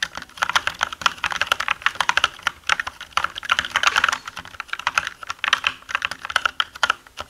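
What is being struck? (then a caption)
Mechanical keyboard with plastic keycaps. Fingertips of both hands type on a black mechanical gaming keyboard with plastic keycaps, with a pencil lying unused on the desk. A rapid, uneven stream of sharp, bright plastic clicks and clacks comes in bursts, with no low end. Each keystroke dies away almost instantly.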